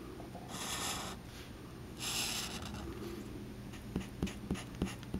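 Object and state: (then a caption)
Felt-tip marker on card. A black felt-tip Sharpie marker is scratched and rubbed across a flat sheet of thin white card resting on a green cutting mat, with fingers holding the card still while drawing. Two longer, bright, hissy strokes are heard over a low rustling bed, followed by a run of short, sharp ticks as the tip is dabbed and flicked across the card near the end.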